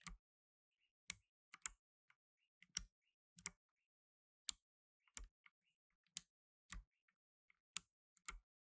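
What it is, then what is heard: Plastic mechanical keyboard. Blue nitrile-gloved fingertips type on a black tenkeyless mechanical keyboard with plastic keycaps. Sharp, bright clicks and clacks come in short, irregular bursts with quiet gaps between them, each keystroke dying away almost instantly with a faint low thump underneath. The overall level is quiet.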